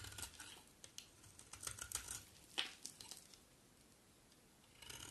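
A solid green bar of soap held in the hand is carved with a utility knife blade, shaving it into flakes. A series of quiet, dry, bright scraping and crackling cuts is heard, with a short pause near the end before the shaving starts again.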